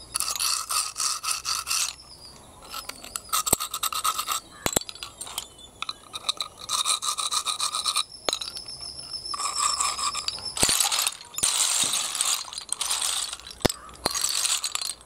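A hand stirs a heap of small, hollow, empty snail shells resting on concrete, making the shells clatter together. Bright, dry rattling comes in bursts with short pauses, punctuated by sharp, quick clicks that die away almost instantly, with almost no low end.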